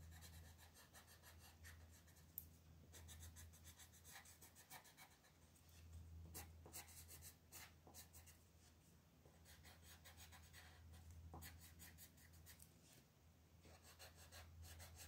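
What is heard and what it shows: A green wooden colored pencil, held in a hand with long red nails, scratches and rubs across a flat, thin paper coloring book page with a festive Mexican Talavera design, lying on a wooden table while the other hand holds the sheet steady. The continuous scratchy coloring strokes come as quick, uneven bursts of bright, dry rasp over a steady low hum.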